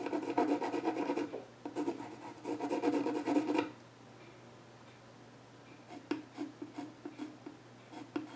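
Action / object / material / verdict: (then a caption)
scrape / pencil on a solid wooden stool top / wood / none. A yellow pencil scratches drawing lines across the flat top of a solid, dark-stained wooden child's stool while the other hand holds its edge. Long, dense rasping strokes fill the first few seconds with a brief gap, then fall to near silence before a run of short, lighter scratches closes the clip, with a faint steady low hum underneath.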